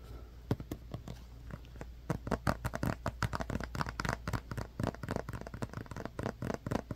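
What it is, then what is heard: Plastic glue bottle. Fingertips and nails tap and scratch a small, hollow white plastic glue bottle with an orange cap and a paper label. Quick, dry, hollow taps and clicks come in irregular bursts that grow denser and louder after about two seconds, mixed with soft scratchy rubbing. Each tap dies away almost at once over a steady low background hum.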